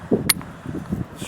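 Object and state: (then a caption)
Fragile, low-density rock. A rough-surfaced rock is struck while prospecting for gold and breaks apart too easily, giving two sharp, bright, glassy clinks with very short ring. The rock took a little force but still broke, showing it is fragile and not dense, so it is not the kind of rock sought for finding a gold deposit.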